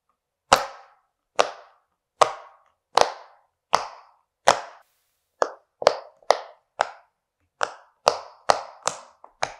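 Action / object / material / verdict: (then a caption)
tap / silicone pop-it fidget toy / silicone / none. Fingertips of one hand press and pop the hollow bubbles of a flat, hand-sized yellow silicone pop-it fidget toy shaped like an owl. Fifteen short, dry pops sound at an uneven pace, each a sharp tap with a mid-range body and a bright click that dies away almost at once.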